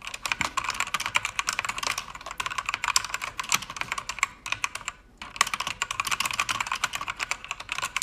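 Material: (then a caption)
Plastic. Fingertips with long red nails type on a full-size mechanical keyboard with a pink backlight and plastic keycaps on an aluminum panel. The result is a rapid, bright clatter of short clicky keystrokes with almost no low end. A brief pause comes near the middle before the typing resumes.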